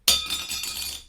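A metal black credit card is dropped and gives one loud, bright metallic clink. The ring is high-pitched, centred around 3.6 kHz, and decays over about a second.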